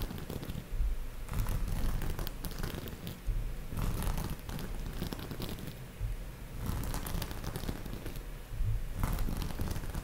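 Long nails scratch and brush across a large soft pillow covered in iridescent pink and white sequin fabric, flipping the sequins. The result is a steady, low, rumbling rustle, broken every few seconds by brighter crackling bursts as the sequins flip over.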